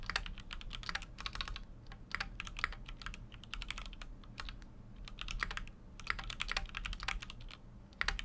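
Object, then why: Mechanical keyboard, aluminium case with plastic keycaps. A full-size Keychron Q6 mechanical keyboard with an aluminum case and plastic keycaps is typed on continuously with fingertips. Rapid, short, bright clacks come in quick bursts, with a few brief pauses, over a steady low rumble. Each keystroke dies away almost instantly.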